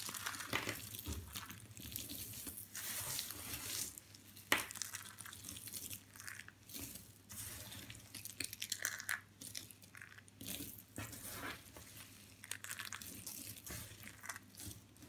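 Both hands press, rub and crumble a pile of small broken white and blue dry soap chips resting on fabric, crushing the brittle solid pieces between fingers and palms. A dense, bright crackling and crunching runs throughout, with one sharper snap partway through, over a faint steady low hum.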